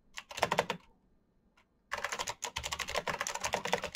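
Fingertips type quickly on the hollow plastic keycaps of a black plastic mechanical keyboard, producing sharp, bright clicks and clacks. A short burst of keystrokes stops for about a second, then the typing resumes as a steady, rapid run of crisp, short taps until the end.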